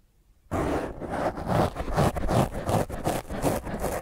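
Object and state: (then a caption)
Foam microphone windscreen being scratched. A black foam microphone windscreen is scratched by the long fingernails of one hand. After a half-second of quiet, a loud, rough, rustling scrape starts and continues in uneven rhythmic strokes, about two or three per second. The sound is dense, with heavy low rumble and bright rasping edges.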